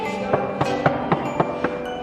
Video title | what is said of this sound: राजा रानियों के महल तो बहुत देखे होंगे पर इससे नीचे नीचे। | साफ साफ आवाज आ रही है